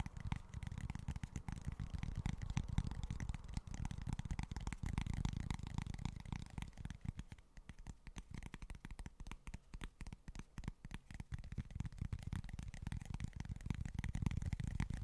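Short fingernails scratch and tap a small flat cork board in quick, irregular strokes. The sound is soft and dull, with muffled low thumps and faint brushy scratching that dips quieter in the middle before picking up again.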